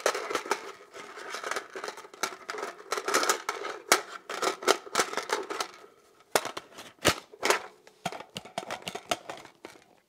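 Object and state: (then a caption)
Polymer pistol magazine, tapped and scratched. Fingertips and nails scratch and tap continuously on the textured surface of a hollow, hand-sized black polymer pistol magazine held close. The result is a dense run of sharp, dry clicks and scrapes with almost no low end. A quieter stretch near the middle is followed by scattered louder taps.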